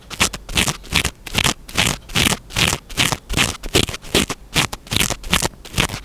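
Fingertips and short nails scratch and rub a small black foam windscreen on a microphone in quick strokes. The result is a steady run of close, bright, scratchy rustling bursts, repeating roughly two to three times per second, each with a dull low thump beneath the hiss.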